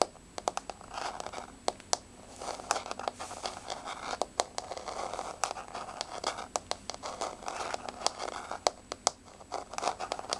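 Long blue-painted fingernails on both hands tap and scratch a large, solid, flat wood-grain floor, possibly laminate or parquet. Dozens of sharp, dry clicks land in quick irregular runs over a soft, continuous scratching and scraping. The sound is quiet and bright with almost no low end, and each tap dies away almost instantly.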